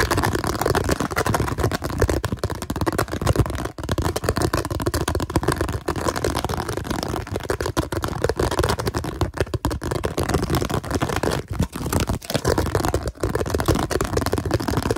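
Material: Plastic.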